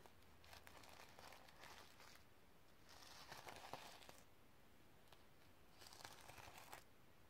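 Long red nails scratch and flip the reversible sequins on a sequin-covered notebook resting on a stack of books. Soft, bright crinkling and scratchy rustling come in several uneven bursts, with faint ticks as the sequins flip over a low, quiet background.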